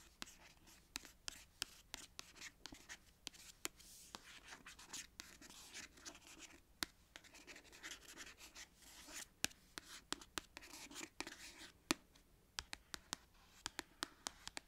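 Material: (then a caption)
Paper, card. Long white acrylic nails trace and tap across the glossy card cover lettering of a solid, medium-sized paperback book, "my (extra) ordinary life", lying on a knit blanket. A soft, bright scratching rub runs throughout, punctuated by dozens of sharp, dry, high taps with almost no ring or low end.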